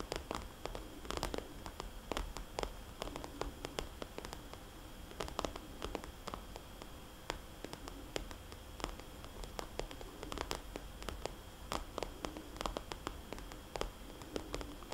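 Long, dark-polished fingernails and fingertips tap and trace over a small red polka-dot glossy vinyl or plastic zip cosmetics bag lying flat, a soft hollow pouch. Many quick, sharp clicking taps come in uneven bursts, with soft scratchy rustling from the tracing in between over a low, steady background rumble.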